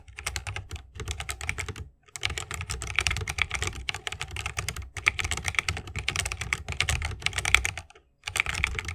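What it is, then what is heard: Mechanical keyboard being typed on. Fingertips of both hands type continuously on a 60% mechanical keyboard with plastic keycaps and Holy Panda tactile switches, set in a bamboo wooden case. Rapid, bright, clacky keystrokes come with a soft low thump, each very short and dry. The typing pauses briefly around 2 seconds and again near 8 seconds.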